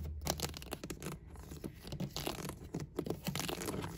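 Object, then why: Thin plastic game cases. Fingertips and nails tap, flick and scratch along the spines of a row of PS4 and Switch game cases standing on a shelf, cases of hollow, thin plastic with paper inserts. The result is a quiet, fast run of short, dry, hollow clicks and ticks mixed with raspy scratching scrapes. A low, soft body sits beneath brief bright edges.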